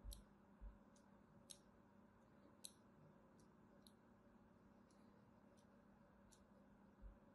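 A thin metal blade scratches line cuts into the surface of a solid cream soap bar held in the hand. It makes short, crisp, bright scratching ticks at an uneven pace over a quiet, steady low hum.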